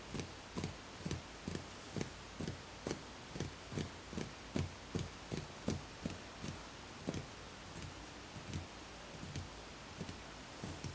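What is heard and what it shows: Fingertips tap repeatedly on the rounded outer wall of a small speckled beige ceramic plant pot holding a plant. Each tap is a soft, short, low knock with a faint bright tick that dies away quickly. The taps come in a loose, uneven rhythm over a quiet steady hiss.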